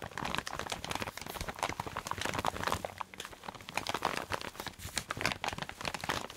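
A clear plastic zip-lock bag holding a dark red fabric item is squeezed, crinkled and scratched with fingernails. The result is a steady run of dense, bright crinkling and scratchy crackles that rise and fall in short bursts, with little low end.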